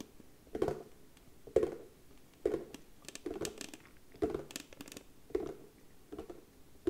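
Long nails tap quickly on the lid of a round, hollow box made of darker brown wood with a white round label, held in both hands. Quiet, dry, woody clicks come in short, uneven bursts about once a second, each dying away almost at once with a hollow mid tone.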